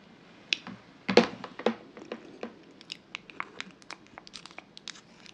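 A medium glass jar candle filled with solid pale yellow wax, with a bamboo/wood lid and a kraft-paper "Oud Wood" label, is tapped and scratched on its glass sides with long acrylic nails. Sharp, bright clicks and brief scratches come in an irregular string of about 22 short hits. A few louder taps sit near the start, and each dies away almost at once.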